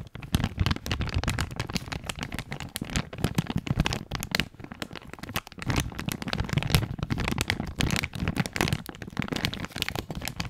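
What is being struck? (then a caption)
Thin clear plastic bag with an item inside. A clear plastic bag with a coiled item inside is held close to the microphone and crumpled and scratched with fingers. A dense, continuous crinkling and crackling fills the clip, with sharp bright snaps over a heavy low rumble from the close handling.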